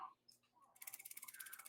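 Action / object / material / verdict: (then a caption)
shake / steel watch bracelet / steel / tight. A fairly new Zodiac Sea Wolf watch's steel bracelet is shaken in a shake test. After a brief quiet start, it gives a rapid run of light, bright metallic clicks. There is only a little rattle, so the bracelet is judged fairly tight and not too bad.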